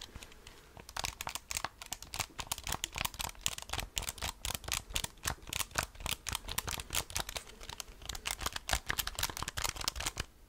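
Fingertips and nails tap and press the rubber keys of a handheld black plastic graphing calculator with a hollow casing. The result is a quick, steady stream of short, crisp, bright clicks and soft taps with almost no ring, over a faint low background hum.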